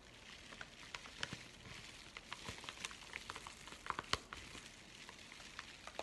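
A flat, empty yellow kraft padded bubble envelope is held and crinkled in both hands while fingers scratch its paper. Quiet, steady, bright crackling is broken by irregular sharp crisp ticks and snaps, with almost no low end. The result is a dry, fizzing paper crinkle throughout.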